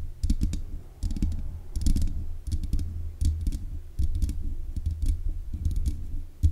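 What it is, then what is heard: Metal microphone grille tapped with nails. Long nails tap rapidly on the hollow mesh grille of a black metal desk microphone. The sound comes in bursts of quick clicky taps, each landing as a low, boomy thud with faint bright ticks above it. The bursts are separated by short pauses.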